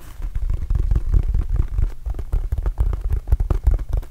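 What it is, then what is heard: Rubber mini basketball. A red and blue Arizona Wildcats rubber mini basketball, hollow and inflated, is tapped and patted with fingertips close to the mic. It gives a quick, continuous run of soft, deep, boomy thumps, each dying away almost at once.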